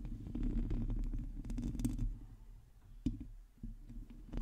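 Long teal nails on both hands scratch a hollow metal mesh microphone head, making a dense, low, rumbling scrape with rapid irregular scratches. The scraping thins out past the midpoint, broken by a couple of sharper, brighter taps.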